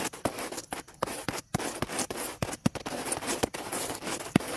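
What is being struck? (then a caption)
Dry weathered wooden log. Two dark stiff-bristled brushes, one in each hand, scrub fast across a large, dry, cracked, weathered fallen log lying on grass outdoors. The strokes make dry, broadband scratching with many short, sharp clicks. The sound is bright and rasping, with no ringing after each stroke.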